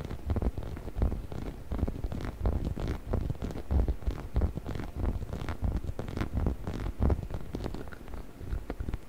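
Fingers scratch and squeeze the body of a hollow yellow rubber chicken toy held in front of the microphone. The result is a steady stream of irregular, dense rubbing and scratching sounds with a deep, muffled low rumble and little bright content.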